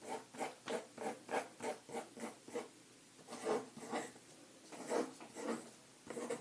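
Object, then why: Pencil on paper sheets in a ring binder. A green pencil held in the hand writes and scratches across white lined paper in an open ring binder lying flat on a table. A quick run of evenly spaced, dry scratchy strokes is followed by a brief pause, then a looser, uneven series of rasping strokes.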